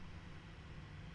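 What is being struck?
Nothing is struck.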